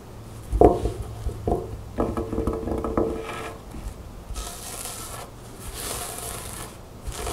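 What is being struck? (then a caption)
Satin blouse with lace trim. Long nails scratch the white lace trim and smooth fabric of a mint green satin blouse with a black strap, laid flat on a table. A few sharp, low scratchy taps come first, followed by soft, bright, hissing strokes across the fabric.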